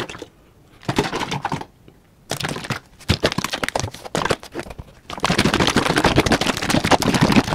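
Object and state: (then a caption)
Plastic bottle of gel being shaken. A large, hollow yellow plastic Liquid-Plumr drain cleaner bottle with a red cap, containing gel, is held in the hand and shaken vigorously. It makes rapid, crackling sloshes and taps in short bursts separated by brief pauses, then a steady, dense rattle through the final seconds.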